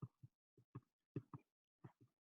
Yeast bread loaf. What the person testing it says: you want it to sound hollow